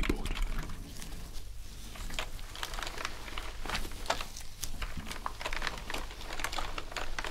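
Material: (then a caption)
Plastic. Gloved hands scrub and press sponges over the keycaps of a black plastic gaming keyboard lying on a desk, making the keys click. Soft crinkly scrubbing runs throughout, broken by many short, bright clicks over a steady low hum.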